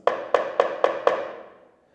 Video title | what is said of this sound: Une randonnée dans la campagne Marocaine | celle-là elle est mal collée il doit y avoir un creux ici c'est pour ça que ça sonne creux